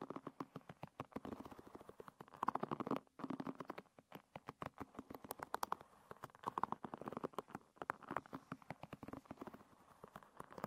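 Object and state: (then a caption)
Wooden pin hairbrush bristles. A fingernail flicks and scratches along the wooden pin bristles of a hairbrush, producing a rapid stream of dry, crisp clicks and ticks. The bursts are dense and close together, with brief pauses near three and seven seconds. Energy sits in the low-mid range around 1 kHz, with little deep bass.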